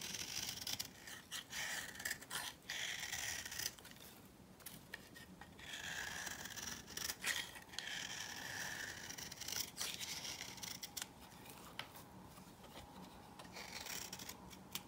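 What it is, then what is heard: Dry bar soap being scraped. A hand-held, dry, coral-pink bar of soap has a knife blade scraped across its flat face. The result is a run of quiet, dry, crumbly scraping strokes with a bright, gritty texture that come in uneven bursts with short pauses between them.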